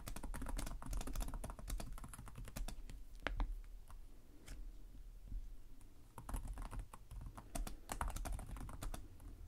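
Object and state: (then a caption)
Plastic laptop keyboard. Both hands type steadily with their fingertips on a black laptop's low-profile plastic chiclet keys, making a rapid run of short, bright clicks over a soft low thud. The clicks come in bursts with a brief lull near the middle before the typing picks back up.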